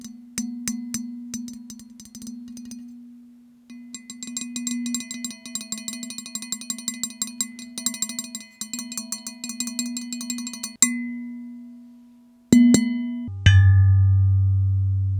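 A small, solid grey metal microphone stand part, held in one hand in front of the microphone, is tapped with the fingertips and nails of the other hand, giving ringing chime-like tones. Quick, irregular taps ring around 240 Hz with bright overtones, pausing briefly and then speeding into a dense run of strikes. The clip ends with a few single louder taps, the last with a deeper, longer ring.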